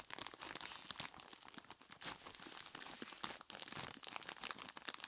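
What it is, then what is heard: Plastic bag of ice cubes. A large clear plastic bag full of ice cubes is squeezed and rubbed by hands in skeleton-claw gloves, giving a continuous bright crinkling with sharp crunches throughout. The sound is mostly high-pitched with almost no low end, and each crackle dies away almost at once.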